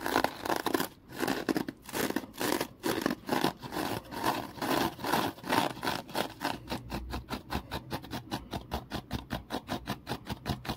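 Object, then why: Foam kitchen sponge. A small rectangular foam kitchen sponge is held and squeezed by hand while the fingers scratch its surface. The result is a run of dry, broadband scratching strokes, loose and uneven for the first six seconds, then quickening into a faster, steady rhythm of short, bright bursts to the end.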